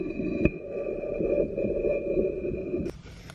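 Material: Ceramic.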